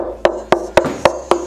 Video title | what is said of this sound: BONUS EPISODE! - The Cellotar F-style body build overview and tips / tricks - addendum (Episode 23) | Sounds good. Sounds very tonal.